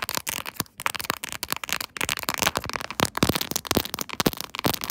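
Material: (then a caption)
Plastic. Long acrylic nails tap and scratch the raised diamond pattern of a silver, chrome-finish quilted plastic phone case held in a tripod holder. The result is a rapid, uneven stream of crisp, bright clicks and scratchy rasps, each dying away almost instantly.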